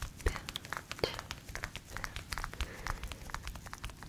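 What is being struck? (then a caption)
Faux fur fabric pouch. A flat, book-sized mint green fluffy faux fur pouch with a "chill pill" patch is scratched and tapped with long nails. A steady run of soft, crinkly scratches is broken by quick, sharp taps that click brightly and stop at once over a low, muffled rustle.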